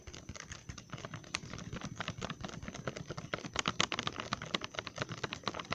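Fingertips and nails tap quickly on the front of a full, resealable, glossy plastic Trolli bag of gummy worms held in both hands in front of the face. The result is a rapid, uneven patter of short, dry plastic clicks and light crinkles with bright, crisp tops and soft low thumps, each tap ending almost instantly.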